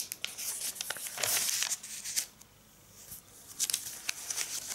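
Fingertips with long red nails rub, smooth and turn the glossy pages of a thin AVON catalog lying open on a striped tablecloth, while a large ring is worn on the hand. Soft, bright paper rustles and crinkles come in bursts, with a louder sweep of page-turning early on. A quiet pause follows before more crisp rubbing sounds near the end.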